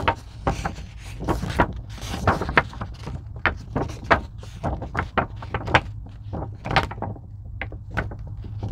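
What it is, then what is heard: Foam craft sheet. Long pink nails scratch and tap a thin purple-blue craft foam sheet, possibly EVA, held at both edges. A rapid, irregular series of short, dry clicks and brief scratchy rustles sounds over a steady low hum, each tap stopping almost instantly.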